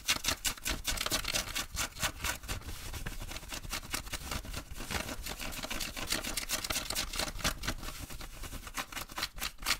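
Fingertips and nails quickly scratch and rub blue denim jeans being worn, at the hip and pocket area. A fast, dense run of bright, scratchy strokes sounds with short, dry bursts that barely ring, over a faint low rumble.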